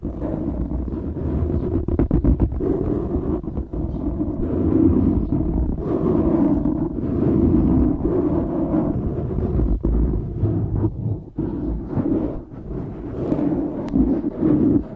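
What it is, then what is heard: Foam microphone windscreen being scratched. Fingertips rub and scratch the sides of a black foam windscreen on a microphone. The result is a close, continuous muffled rustling and scraping, heavy in the low end, with quick scratchy bursts and brief dips throughout.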